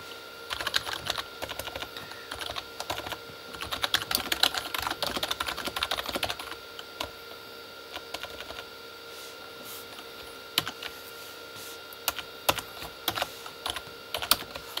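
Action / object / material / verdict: tap / plastic keyboard / plastic / none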